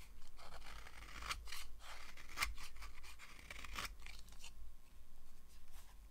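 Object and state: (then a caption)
Dry bar soap being carved. A red-handled knife carves a thin, solid yellow oval slab of dry bar soap, producing a run of crisp, bright scraping and crunching cuts. These cuts come over a steady low hum, with a brief lull while the blade is lifted away from the soap.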